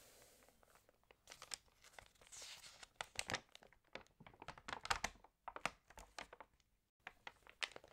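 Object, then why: Glossy paper magazine pages. Fingertips rub the glossy pages of an open, water-damaged magazine and turn them. The result is a quiet run of crisp, bright crinkles and papery rustles, with short, dry crackling bursts and almost no low end.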